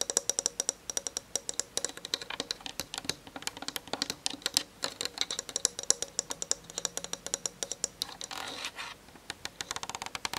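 Long nails on one hand tap rapidly on the plastic lens barrel and body of a Canon DSLR camera, making a dense run of sharp, dry, bright clicks. Around the 8–9 second mark the taps give way briefly to a scratchier rubbing sound before the fast tapping resumes.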